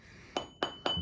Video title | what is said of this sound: Доводим наждак до ума #5: Почему бьёт камень и как это исправить | We tapped it, and there was no dull sound. If there's a dull sound, it's straight to the core